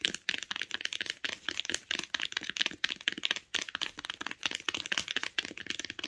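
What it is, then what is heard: Hardcover book spine, solid. Long acrylic nails tap quickly along the printed paper or cloth spine of a closed, solid hardcover book. The result is a rapid stream of sharp, dry, bright clicks with almost no ring, centered around 3 kHz and carrying almost no low end.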